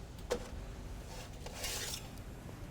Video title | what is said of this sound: 12 Steps to Yeast Dough Production | you pick one up and thump the bottom and it should sound hollow